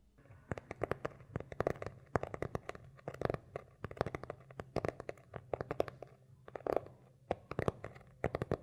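Fingernails scratch and tap the beige textured cloth cover of a small, solid hardcover notebook held upright between two microphones. Soft, dry scratching alternates with quick, sharp clicking taps in irregular bursts over a faint steady low hum. Each tap dies away almost instantly.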